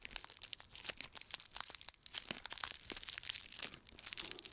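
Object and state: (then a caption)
Onion with dry papery skin. A whole, raw, fist-sized solid red onion is held up in one hand while the fingertips of the other hand scratch and pick at its dry papery outer skin near the top. The result is a dense run of bright, crisp crinkling and tearing sounds with sharp, quick crackles and almost no low end.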